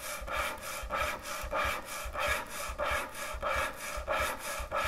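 Long nails slowly scratch and rub back and forth across a large, thick, solid end-grain hardwood butcher block cutting board. Each stroke gives a dry, raspy scrape with a bright, hissy edge over a faint low thump. The strokes repeat in a fairly steady rhythm.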